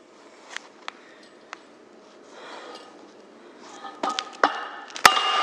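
A red-headed hammer strikes the hot, flattened red end of a hollow steel pipe lying on a concrete block seven times, with a long pause between the first three and the last four. The early blows are soft, dull taps. The later ones turn loud and bright, with a clanging metallic ring around 1.2 kHz, as the metal grows harder while it cools.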